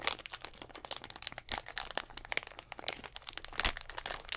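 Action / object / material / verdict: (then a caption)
tap / thin plastic drink bottle / plastic / none. A clear, hollow plastic Gatorade bottle with a little blue liquid inside is squeezed and tapped with fingertips and nails right at the mic. A dense stream of bright, crisp crinkles, crackles and sharp clicky taps follows, with almost no low end. Each tap dies away almost instantly.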